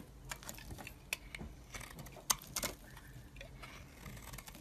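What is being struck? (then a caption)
Bar of soap. A metal blade shaves the surface of a hand-held, solid pale green bar of soap. Quiet, bright, crisp scraping ticks and short snaps are heard, with a couple of sharper cuts standing out over a soft, steady hiss.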